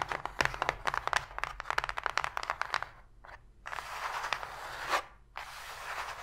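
Long pink fingernails tap rapidly on the floor of an empty, open, hollow white cardboard box tray, making a quick run of sharp, dry clicks. After a short pause they scratch across the cardboard, producing steady, bright, crunchy scraping that breaks briefly and resumes.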